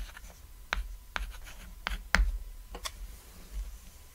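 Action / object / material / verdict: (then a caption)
scrape / chalk on a small chalkboard / chalk / none. Fingertips holding a stick of white chalk write text across a flat, solid, cat-shaped black chalkboard, about lap-sized, lying on red fabric. Five sharp, scratchy chalk strokes stand out over a soft, low background hush, with fainter rubbing between them.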